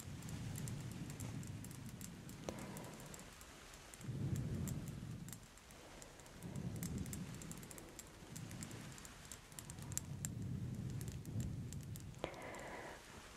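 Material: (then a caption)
Plastic. A small hollow clear plastic wand bottle with a star topper, filled with pink glitter liquid, is held in both hands with long red nails and tapped, turned and shaken close to microphones. Soft, low rumbling swells of sloshing and handling rise and fall, scattered with quick, bright clicks from the nails tapping the plastic.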